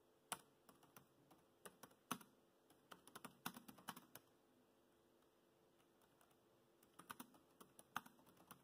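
Fingertips type on the black plastic chiclet keys of a dark grey laptop, producing quiet, sharp clicks and taps with bright attacks and almost no ring. The keystrokes come in two bursts with a near-silent pause between them, over a faint steady background hiss.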